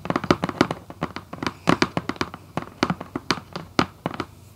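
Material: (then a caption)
Cardboard. Long acrylic nails on both hands tap and lightly scratch the top of a red Vans cardboard shoebox lid on a hollow box. About two dozen quick, dry, hollow clicks come in an irregular rhythm, each with a papery mid-range knock around 355 Hz and a crisp bright edge. The taps die out almost at once, with faint scratchy texture between them.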